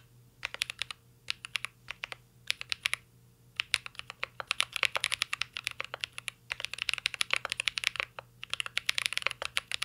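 Fingertips type continuously on a mint-green Cyberboard R3 mechanical keyboard with plastic keycaps and an aluminum case. Quick, bright, sharp key clacks come in bursts with brief pauses between them, each tap dying away almost instantly.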